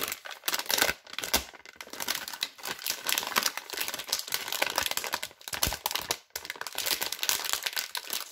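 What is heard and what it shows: Hands with long red nails crinkle and stretch a yellow and blue glossy plastic film wrapper holding a multipack of soap bars. A dense, bright crackling runs almost continuously, with almost no low end, and breaks off in brief silences around 1, 5.4 and 6.2 seconds before starting again.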